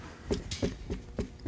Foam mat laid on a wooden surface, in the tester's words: no sound coming out of the wood itself okay so this makes a good isolation